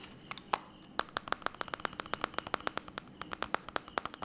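Fingertips and short nails tap rapidly on the shattered glass touchscreen of a white smartphone lying flat. About 31 sharp, dry clicks come in a quick, uneven stream, each with a bright tone near 800 Hz and almost no ring. Faint background hiss fills the gaps.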